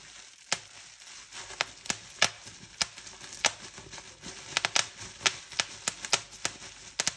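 Hands scrunch a clear plastic bubble wrap sheet, popping its bubbles. About nineteen sharp, bright pops cut through a steady crinkling rustle of the film. Each pop dies away almost instantly.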